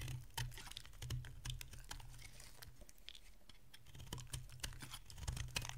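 A metal utility blade carves flakes from a solid oval bar of dry orange soap held in hand, making a quick series of crisp, dry clicks and scrapes. Each cut is a short, sharp snap with a bright edge over a low, steady rumble, picking up and growing louder toward the end.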